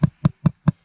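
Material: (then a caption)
Wood. Four dull, hollow-sounding knocks on buried wood at the bottom of a deep dig hole about two feet down, with a metal object still lying beneath it. Each knock is a short, low thud centered near 150 Hz that dies away almost at once, spaced about a fifth of a second apart.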